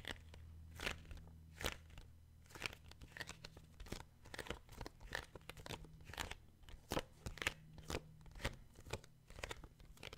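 Fingertips and short nails tap and scratch the glossy card cover of a paperback children's book, Skippyjon Jones. The sound is a quiet, irregular series of crisp, bright, crunchy taps and scratchy strokes that stop almost instantly, over a steady low hum.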